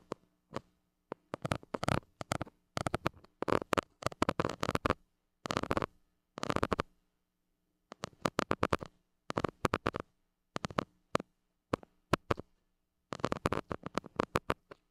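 A white plastic stick scratches the hollow metal mesh grille of a small gold mini microphone, producing bursts of quick, dry scraping strokes separated by brief silences. A faint steady low hum sits underneath the scratches.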